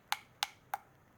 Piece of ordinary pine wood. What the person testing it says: you hear that sort of hollow sound